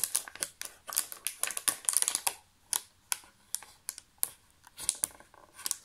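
Fingertips tap and press the raised cavities of a thin, empty, clear thermoformed plastic chocolate tray held close. A rapid, irregular run of bright, crisp clicks and light crackles sounds with almost no low end, each tap dying away instantly.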